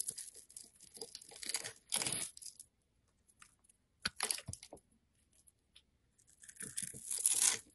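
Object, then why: Soap bar. A blade cuts and scrapes small cubes from the pre-scored surface of a solid, rectangular, yellow-orange soap bar held in hand. Crisp, bright, crunchy scraping and tearing bursts come in clusters separated by short quiet gaps. The sound is almost entirely high, with hardly any low end.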